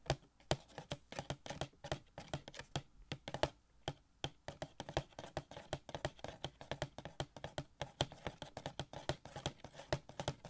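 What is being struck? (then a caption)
Small cardboard box with plastic window. Fingertips rapidly tap a small, hollow cardboard Funko Pop box with a plastic window and a gold Shuri figure inside. The result is a quick, steady run of short, dry taps with a hollow low thud and brief clicky highs that die away almost at once.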